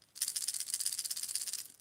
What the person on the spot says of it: you get a loud but deep rattle